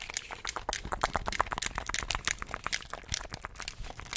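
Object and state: Plastic game controller.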